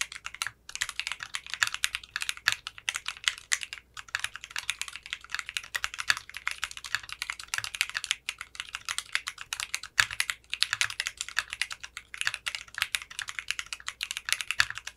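Fingertips type steadily on a 60% mechanical keyboard with clear pink polycarbonate keycaps and a translucent case. Its many rapid, crisp key clicks are bright and short, running nearly continuously with only brief pauses.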